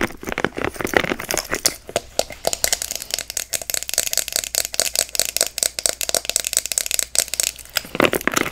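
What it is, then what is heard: Silicone scalp massager, named. Long acrylic nails scratch and tap across the back and soft, flexible spikes of a hand-sized, solid grey silicone scalp massager held in both hands. The result is a rapid, uneven run of bright, dry clicks and crackly scratches with almost no low end, each sound dying away almost instantly.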